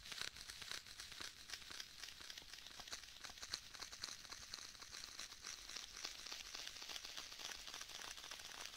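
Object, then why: Faux leather tablet case. Fingertips tap and press on the cover of a black stitched faux leather tablet case held beside the microphone, with what sounds like sticky contact. A steady stream of quick, bright, crinkly clicks and soft crackles continues throughout at a low level. Each tap dies away almost instantly.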